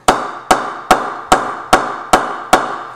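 A UK-made Cryptic Signature English willow cricket bat is knocked seven times with a mallet in the sweet spot at a steady pace. Each strike gives a sharp, bright ping centered around 740 Hz that decays quickly. The bat shows a nice rebound.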